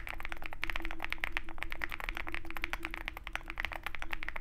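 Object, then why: Mechanical keyboard with metal case and plastic keycaps. A compact 65% Zoom65 mechanical keyboard with a dark metal case and white and black plastic keycaps is typed on rapidly with the fingertips of both hands. Dense, quick key taps give short, bright clicks over a steady low hum and a faint tone around 350 Hz.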